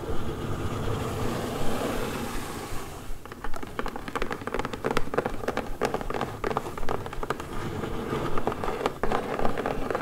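A closed, medium brown corrugated cardboard mailer box lies flat while hands hold it, and long acrylic nails tap and scratch its sides. A soft, steady scraping for the first three seconds gives way to a run of sharp, irregular taps mixed with scratching.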